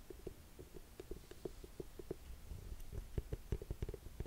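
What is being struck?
Boot with thick wood-look sole and heel.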